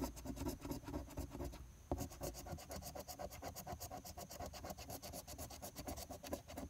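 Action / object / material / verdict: scrape / paper scratch-off ticket scraped with a coin / paper / none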